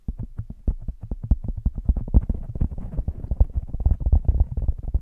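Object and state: Foam microphone windscreen being scratched.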